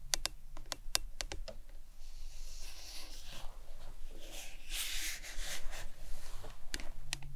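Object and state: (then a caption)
Plastic tumbler tapped and scratched. A printed hard plastic lemonade tumbler with a lid and straw, hollow, lying on its side and then held upright, is tapped and scratched with long nails. Sharp, bright taps at the start give way to a soft, hissing scratching in the middle before a few more taps close the clip.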